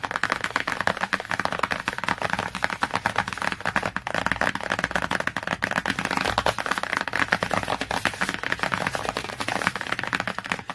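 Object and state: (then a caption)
Glossy cardboard hardcover book. Long fingernails rapidly tap and scratch across the glossy laminated board cover of a large children's hardcover encyclopedia lying flat on a surface. The result is a dense, continuous stream of short, dry clicks and scratchy strokes, with a papery midrange focus around 1.6 kHz, little low end, and almost no ring.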